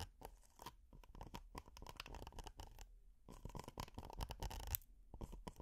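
Long nails and metal finger picks scratch a flat, flexible red honeycomb-textured silicone pot holder. The result is dense, crackly bursts of scratching made of quick, dry clicks with very little ring, broken by short pauses.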